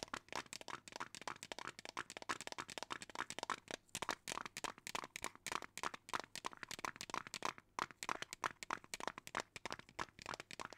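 A small clear plastic jar with a lid, partly filled with colorful small beads, is held in one hand close to the microphone while it is shaken and tapped with long teal nails. A steady run of quick, dry clicks and bead rattles fills the whole clip, with crisp bright ticks and a recurring tone around 1.3 kHz. Each tap dies away almost instantly, with very little low end.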